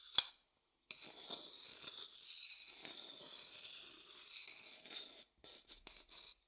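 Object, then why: Light wooden bowl. A thin wooden stick scratches and taps the inner surface of a medium, hollow, empty light wooden bowl held on its side next to the microphone. A single sharp tap is followed by a brief silence, then a long stretch of bright, hissy scratching. The clip ends with a few short, separate scrapes.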